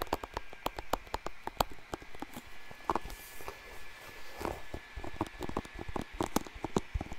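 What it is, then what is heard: Plastic hairbrush. Fingertips and nails strum and scratch the bristles of a blue plastic paddle hairbrush held up close to a microphone. The result is a quick, uneven run of short, dry clicks and flicks, with brief raspy scratching passages between them over a faint steady hiss.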